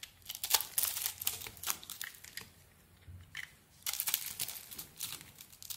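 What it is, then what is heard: Bar of soap being carved. A blade scrapes off small cubes scored into the surface of a solid purple glitter soap bar. It makes bright, crisp crunching and crinkling bursts, with a brief quieter lull midway before the dense scraping resumes.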